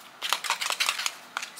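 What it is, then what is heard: Fake plastic plant. An artificial plastic plant from IKEA is tapped and handled, giving quick crinkly, rattly clicks with bright, papery high content and almost no low end. Bursts of short ticks cluster in the first second, then two more come near the end.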